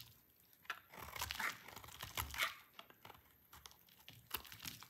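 A solid orange bar of dry soap held in hand is scraped and cut with a utility knife, and flakes fall onto a white wooden surface. Dry, crinkly scraping and crunching comes in bright, uneven bursts, with a few sharper clicks and short quiet gaps between strokes.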